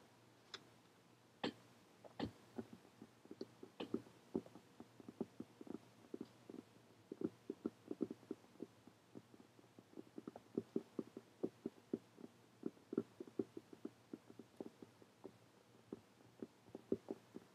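Long painted fingernails tap and scratch on a closed, dark leather-look hardcover journal lying flat on a table. Dozens of quiet, dry, quick taps come in irregular bursts over soft scratching. Each tap has a dull low-mid thud that dies away almost instantly.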